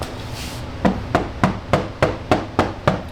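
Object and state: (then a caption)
Resonant, undamped steel car door panel. Knocking on the bare inner steel panel of a BMW E30 rear door, before sound deadening, gives a steady, even run of sharp knocks with a low resonant tone around 190 Hz. Each knock sounds hollow and clanky, showing the undamped panel has a lot of resonance.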